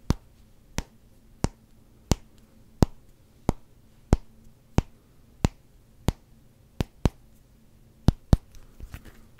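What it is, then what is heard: Rubber hockey puck. A solid black rubber hockey puck held in one hand has its flat face and edge tapped with fingertips, giving 14 short, dull taps with almost no ring. The taps come at a fairly steady pace, then bunch closer together near the end, followed by a few faint softer touches.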